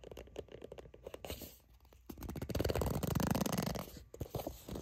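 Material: Soft plastic.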